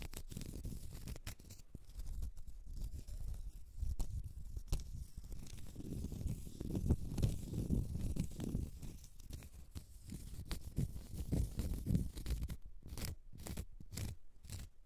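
Long red nails scratch a small, solid, round cork stopper, giving a quiet, continuous low scratching rustle. Brief sharp, bright clicks come in near the end.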